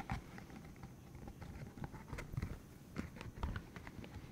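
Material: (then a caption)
Silicone. A green hollow silicone cylinder about 15 cm long with rubbery spikes is held in the hands while its spikes are flicked, squeezed and rubbed with fingertips. Soft, low, muffled patters and rubbery snaps sound over a dull rustle, with a few brighter ticks, about thirteen distinct hits that each die away quickly.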